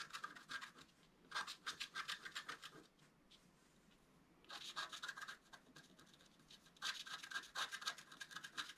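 A wooden stylus scratches the black coating in the central area of a flat scratch art card held in one hand. Rapid, bright, raspy scratch strokes come in three bursts separated by quiet pauses, with a dry papery hiss and almost no low end.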